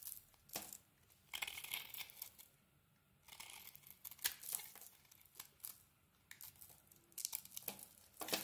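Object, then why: Bar of soap. A utility knife blade scrapes and carves a solid rectangular bar of soap with a black glitter coating over a yellow core, held in the hand. Quiet, bright, crackly scraping strokes come in short bursts with brief pauses, sounding like dry tearing and crinkling.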